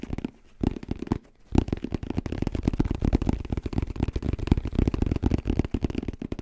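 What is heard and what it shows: Fingertips and nails tap fast on a hollow, black, rounded, fabric-covered hard-shell headphone case held close to the mic. The taps are quick, dry, low hollow thuds with a soft scratchy edge, coming in rapid dense bursts. There are two brief pauses in the first second and a half before steady, fast tapping continues to the end.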